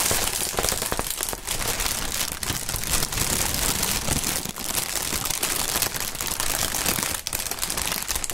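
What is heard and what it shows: A strip of large, hollow, air-filled clear polyethylene air-pillow packaging printed "Sealed Air" is crumpled and crinkled by hands in fingerless gloves, the fingertips squeezing the film. It makes a dense, continuous, bright crackling and rustling at a steady level, with only brief dips between handfuls.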